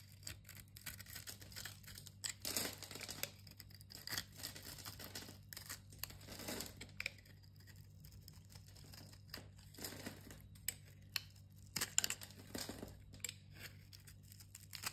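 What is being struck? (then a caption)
Solid bar soap cut with a metal blade. A small, solid green-and-yellow striped soap bar is held in the hand while a metal utility-knife blade scores its surface and shaves it into small cubes. Bright, crisp scraping and crunching strokes come in bursts, with sharp little clicks as the cubes break away, over a faint steady low hum.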